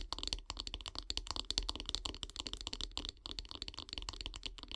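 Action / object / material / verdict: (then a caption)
tap / wooden bath brush handle / wood / none. Long grey nails tap rapidly and scratch along the handle of a solid light-wood bath brush resting on log slices. The result is a dense, continuous run of quick, dry, bright clicks with very short decay, mixed with scratchy friction and a faint low hum underneath.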